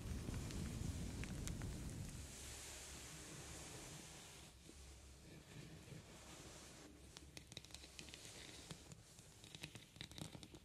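Long painted nails tap and scratch across the rhinestone-covered lid of a small, closed, heart-shaped metal trinket box that looks hollow. A dense, low rustling scrape fills the first two seconds, then eases into softer scratching broken by quick, bright clicks and taps toward the end.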